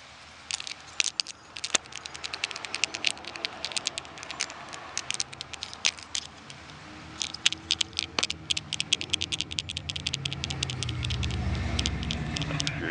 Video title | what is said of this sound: Image of Jesus on Catfish Bone Crucifix Fish Crucifish Made by Hand of GOD in Nature | if you shake it you can hear the bone being tossed